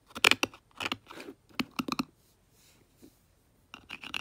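Long nails and a brush handle scratch and tap the top of the green plastic lid on a small Tetra fish food jar. Bursts of sharp, bright clicks and scratchy scrapes come with short pauses between them, each tap dying away almost instantly.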